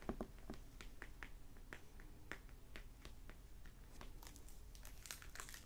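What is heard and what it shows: Fingertips and nails tap and scratch the glossy plastic-wrapped paper dust jacket of a closed hardback library novel resting on a wooden table, crinkling the cover. The result is a quiet, steady stream of short dry taps and crisp crinkles, some brighter, over a soft low rumble. The book is solid.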